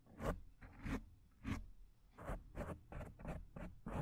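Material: Foam.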